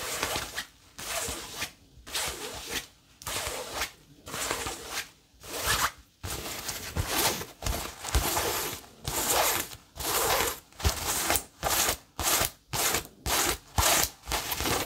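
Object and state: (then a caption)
Cotton fabric tote bag scratched with nails. Long nails scratch across a soft, hollow, cream-coloured cotton fabric tote bag with a printed logo, held in the hands. Repeated bright, raspy strokes come roughly once a second, each a short burst of dry fabric-and-print scratching separated by brief pauses. Toward the end the strokes grow quicker and louder.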